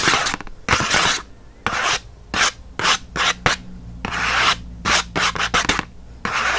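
Fingernails quickly scratch the printed paperboard backing of a pen package, making bursts of dry, bright rasping rubs separated by short pauses.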